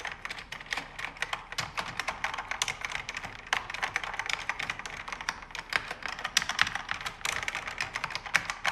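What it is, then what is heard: Mechanical keyboard being typed on. Fingertips and nails type on a pink backlit mechanical keyboard with plastic keycaps on an aluminum panel. A steady stream of quick, bright, crisp key clacks follows with no low thump, and each click dies away almost instantly.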